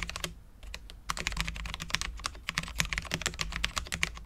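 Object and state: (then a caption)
Low-profile mechanical keyboard with ABS keycaps and steel plate. Both hands type with their fingertips on a full-size Cherry MX10.0 low-profile mechanical keyboard with Cherry LP switches, dark ABS keycaps and a steel plate. The result is a quick, steady stream of short, bright clicky taps over a low thud, with a brief lull near the start before the typing picks up again.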